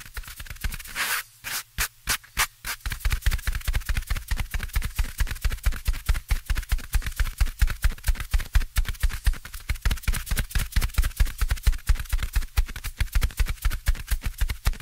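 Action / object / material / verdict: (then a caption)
scrape / foam microphone windscreen / foam / none. Fingertips with short nails tap and scratch the small black foam windscreen covering the top of the right-hand microphone, while an identical microphone stands untouched to its left. A few scratchy bursts and thumps open the clip, then a dense, uneven run of rapid, deep, muffled taps continues, each dying away almost instantly with a faint bright crackle.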